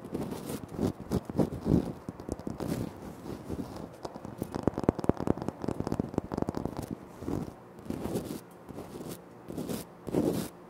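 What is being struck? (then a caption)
Granite floor tile. Short nails scratch and fingertips tap on a flat, solid, speckled granite floor tile. Scratchy bursts alternate with quick clusters of crisp, dry taps that have no ring. The sound has a low-mid body and a bright, crackly edge.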